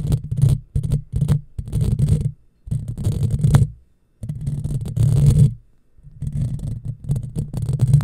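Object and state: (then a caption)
Metal mesh microphone grille scratched. Long fingernails on both hands scratch over the top of a hollow, black, round woven steel mesh microphone grille. The result is a dense, low rumbling scrape with a faint bright hiss. The strokes come in bursts separated by brief silences.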